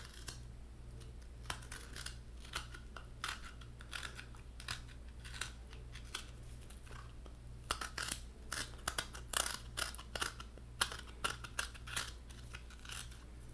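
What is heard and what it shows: Fingertips and nails tap and scratch the white flesh of a halved coconut, held open side out, its hard brown shell lined with white meat. Short, crisp, bright clicks and scrapes come sparsely at first, then grow denser and louder in the second half. A steady low hum runs underneath throughout.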